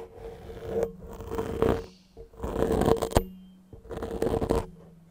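Fingertips and nails quickly scratch and rub a soft, porous grey foam microphone windscreen with repeated strokes. The result is a close, muffled, crackly scraping that comes in four bursts with short quiet gaps between them.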